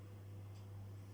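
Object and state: Nothing is struck.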